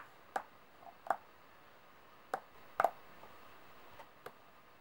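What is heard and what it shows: Long nails tap and shuffle a group of solid brass-coloured metal coins resting on a table. Five short, dry, clicky ticks sound at irregular intervals, quiet and centred in the midrange with little low end and almost no ring. Faint softer scrapes fall between them.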